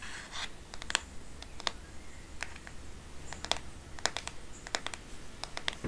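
Long nails tap on the plastic back and sides of a black smartphone case, the phone held edge-on in one hand. Sharp, bright clicks come in irregular clusters over a low, steady hum. Each tap is short and dry with almost no ring.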